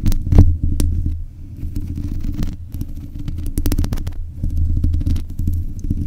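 Long nails scratch and tap the metal mesh grille of a black USB condenser microphone. Heard up close, it makes a dense, low, throbbing rumble, broken by sharp, bright clicking taps. The sound stays steady and close for the whole clip.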